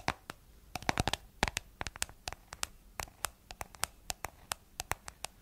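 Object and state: Plastic jar lid tapped with nails.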